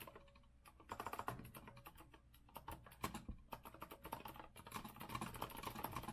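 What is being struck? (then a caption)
Mechanical keyboard with metal frame and round plastic keycaps. Both hands type quickly with their fingertips on a rose-gold Azio retro mechanical keyboard with a metal frame and round plastic keycaps, resting on a wooden desk. A steady, fast clatter of sharp key clicks is heard, with a clacky tone centered around 1 kHz and bright top edges. Bursts grow louder and denser in places before settling into an even typing rhythm.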